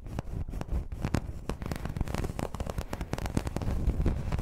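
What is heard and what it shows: Long red nails scratch the surface of a flat, round, dark green embossed placemat, probably vinyl. The result is a dense run of quick, crackling scratches and ticks, with most of the energy low and only a faint high edge.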